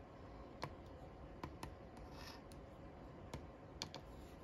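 A wooden stick makes short scratches on the crossword grid squares of a flat cardboard paper lottery scratch-off ticket. About seven quick, dry, bright ticks stand out over a steady low rumble, with a softer, longer scrape around the middle. Each tick is very short and dies away almost at once.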